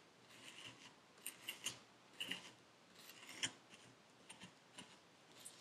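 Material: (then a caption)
Sand. A metal needle tool with a wooden handle scratches the surface of purple kinetic sand packed into a paper cup. Quiet, dry, bright scratching and crackling comes in about eight short bursts over a soft hiss, with almost no low end and no ringing.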